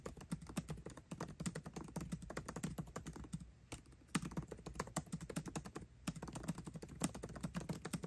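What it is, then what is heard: Laptop keyboard, plastic keys in aluminium body. Fingertips type fast on a MacBook Pro keyboard with plastic keycaps set in an aluminum body. The result is a dense run of short, dry clicks with a low thump under each press, pausing briefly around the middle before the rapid typing resumes.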